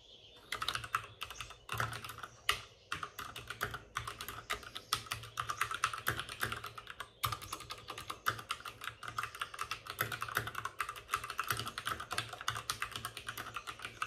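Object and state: Plastic mechanical keyboard.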